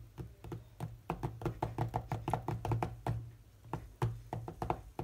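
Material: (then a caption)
Glass. Fingertips of both hands tap rapidly on the glass touchscreen of a large, solid tablet lying flat. The result is a quick, irregular run of short, dull knocking taps, each with a low thump and a mid-range tone around 740 Hz that dies away almost instantly. A steady low hum sits underneath.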